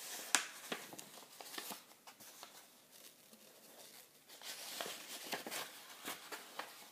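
Fingertips riffle and flip the white paper pages of a solid hardcover book, The Liverpool Football Supporters' Book, held open in one hand. The result is quiet, bright brushing and fluttering with quick papery ticks, including a sharp snap near the start, and a softer lull in the middle before the flipping picks up again.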